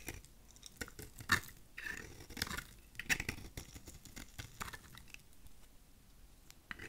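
A utility knife blade shaves the surface of a thin, solid piece of translucent lilac glycerin soap held in the fingers. The result is quiet, irregular bursts of crisp, dry scraping with a bright, crackly edge and almost no ring, each stroke ending quickly.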